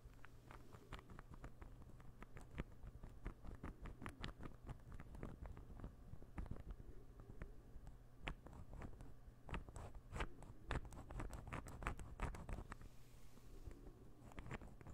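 A small, solid, assembled light-wood interlocking ball puzzle is held in the hand and tapped with fingernails. Rapid, irregular dry clicks and taps sound steadily throughout, each dying away almost at once over a steady low hum.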